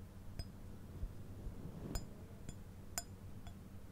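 A small white glazed ceramic sitting deer figurine with gold antlers is held up and tapped with the fingernails. Sharp, bright clinks ring high and die away almost at once, spaced out over a steady low background hum.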